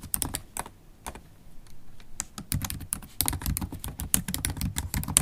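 Long black holographic acrylic stiletto nails and fingertips rapidly tap the black plastic keys of a MacBook Pro keyboard set in an aluminium body. The result is a fast, uneven stream of short, dry clicks with bright nail ticks over soft low key thuds, each dying away almost at once.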